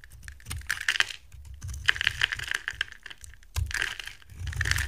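A box cutter blade scrapes and shaves brittle flakes off a solid, dry, rectangular purple bar of soap with gold edging, held in the hand. Repeated crisp, crackly scraping strokes produce bright, dry clicks with no ring, over a soft low rumble.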